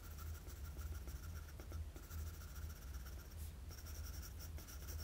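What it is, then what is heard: Pencil shading on drawing paper. A wooden graphite pencil with a blue ferrule and eraser, held in the fingers, scratches shading strokes across a flat sheet of drawing paper around the eye of a pencil-sketched anime face. The sound is a soft, steady scratching with a low, rumbling body and a faint bright hiss on top, pulsing with each stroke through brief dips. It stays quiet and close throughout.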